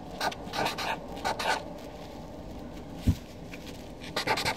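A Sharpie felt-tip marker writes names on a flat white paper sheet resting on a desk, its tip scratching across the paper in short, bright, raspy strokes. The strokes come in quick clusters at the start and end, separated by a quiet stretch broken by a single dull low thud.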